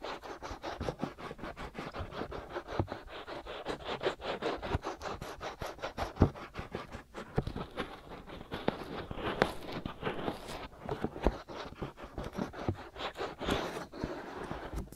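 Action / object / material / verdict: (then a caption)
scrape / silicone ear shells of a binaural microphone / silicone / none. Fingertips and nails scratch both white silicone ear shells of a black binaural microphone. Dense, rapid scratching and rubbing strokes run steadily throughout, with a low body under a papery midrange texture. A few sharper, louder scrapes and occasional bright flicks stand out.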